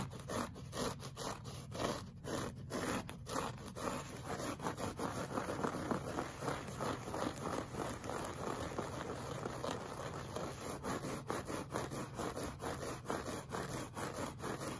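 Short fingernails of both hands scratch a flat, solid beige looped-pile woven rug, with a pink brush lying idle at its edge. The result is a steady stream of dry, rapid scratching and crackling across the fibers, mostly in the low-mid range with a bright hiss on top.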